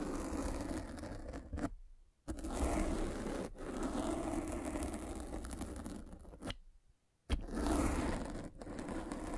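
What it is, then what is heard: Foam microphone cover scratched by a roller. A metal-spiked derma roller is rolled across the black, soft, porous foam windscreen of a microphone, scratching the foam. It makes a dense, continuous scratchy rustle with a heavy low rumble, broken by two brief silences when the rolling stops.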